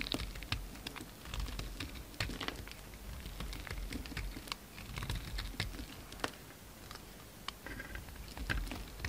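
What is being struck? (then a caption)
Bar of soap cut with a knife blade. A solid pink soap bar held in the hand is chipped and scraped with a utility knife blade. The result is a steady run of short, crisp clicks and scratchy scrapes with bright edges over a low rumble.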